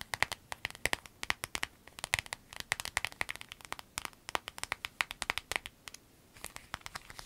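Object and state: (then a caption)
Clear vinyl zip pouch tapped with nails. Long acrylic nails rapidly tap, scratch and squeeze a small, empty, clear flexible vinyl zip pouch with yellow fabric trim. It makes a dense patter of sharp, bright clicks with crinkly rustling, briefly going quiet before softer crinkling at the end.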